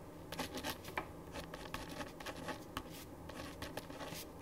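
A ballpoint pen writes on a thin printed paper sheet lying flat on a wooden desk. Quiet, dry scratching strokes come in short, bright bursts over a faint steady hiss.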